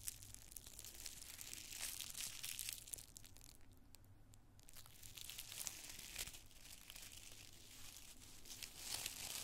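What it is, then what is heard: Tissue paper being crinkled. Two handfuls of thin, multicolored tissue paper squares are crushed in both fists, crinkled with the fingertips, then opened in the palms. The result is a soft, steady stream of bright, dry crinkling and crackling, with a brief quieter lull near the middle before the rustling picks up again.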